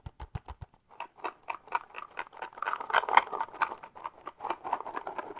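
A mini Froot Loops cardboard cereal box is tapped with the fingertips. Five distinct low, thumping taps open the clip, followed by a run of rapid, light, papery taps centred around 1 kHz that continue unevenly to the end.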